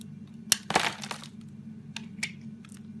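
A metal razor blade carves and scrapes curled shavings off a solid green bar of soap held in the hand. Sharp, bright cracking scrapes stand out over a steady low hum, the strongest near the start and a few fainter ones later.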